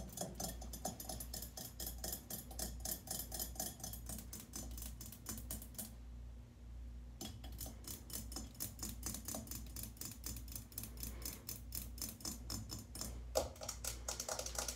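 Long painted nails rapidly tap a solid chrome-plated metal shower mixer handle and its escutcheon plate mounted on a tiled wall. The dense, bright, clicky taps stop briefly around the middle, then resume. A steady low hum sits underneath throughout.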